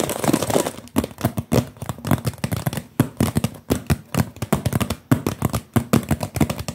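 A clear blue plastic water bottle with a label, hollow and partly full of water, is held close and tapped quickly with the fingertips. The result is a rapid, uneven run of short, dull, hollow taps with a low body and almost no ring. The sound is soft and muffled, with little brightness.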